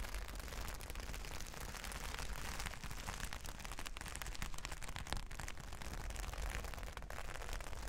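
Long nails scratch and rake over a large flat sheet of reversible plastic sequin fabric, making a continuous dense crackling and rustling texture. Many rapid clicks blend over a steady deep low rumble, with a thin bright edge on top.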